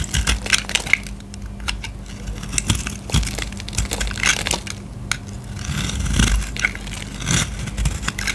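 A solid purple bar of soap is held in the hand and scraped and cut with a utility knife blade. The result is a steady run of crisp, crackling crunches with bright, sharp edges and a few louder snaps. A low, steady hum sits underneath throughout.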